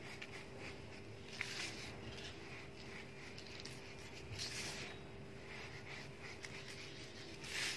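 Bare fingertips of both hands rake and scratch furrows through a large loose heap of fine grey dry sand and cement powder spread on a flat surface, then scoop handfuls and let the powder crumble and sift back down. The sound is a quiet, continuous bright gritty rustle and scratching hiss, with a few faint sharper ticks and a steady low hum underneath.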